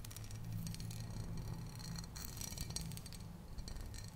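Fingernails tap and scratch on a tall glass bottle full of tomato passata, held tilted, working over both the glass and its label. Quick, bright clicks and dry scratching sit over a steady low hum that fills the whole clip.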